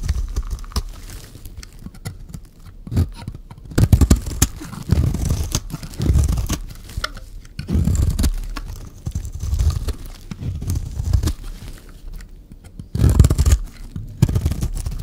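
A solid, hand-sized, rectangular bar of dry mint-green soap is scraped and shaved along its edge with a metal blade, producing flakes. Repeated dry scraping and crunchy shaving strokes come in bursts, with a heavy low-end body and little high sound.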